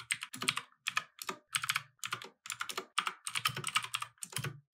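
Both hands type continuously with fingertips on a compact 60% plastic mechanical keyboard with light and red plastic keycaps, resting on a wooden desk. Rapid, bright key taps and clacks come in quick bursts with short pauses between them.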